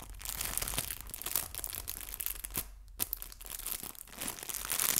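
A small, flat, clear plastic bag holding fabric artificial leaves is stretched and crinkled with fingertips and long nails. It gives a steady run of bright, dry crackles and crinkles, with a brief quieter gap near the middle before it picks up again.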